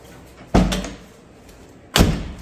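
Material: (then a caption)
Steel. A steel door on a restored Jaguar E-Type, fitted with extra sound-deadening material beyond the original small mat, is shut twice. Each close lands as a low, solid thud with a short decay and little ringing, giving a solid door-shut sound.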